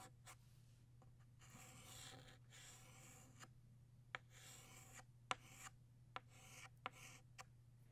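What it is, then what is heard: Chalk writing on a chalkboard. A blue chalk stick scratches across a flat black chalkboard in strokes that draw a butterfly's body. Soft, bright scraping sweeps alternate with several sharp, short taps as the chalk meets the board. A steady low hum runs underneath throughout.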